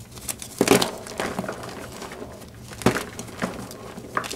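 Gloved hands grip and crush solid, partly broken gym chalk blocks in a pink plastic bowl, the chalk crumbling into pieces and powder. Dry, crumbly crunches come in irregular bursts, with the sharpest breaks near the start and again just before the three-second mark, over a soft gritty crackle.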